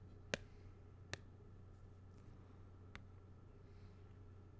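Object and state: Plastic badge holder tapped with a pen.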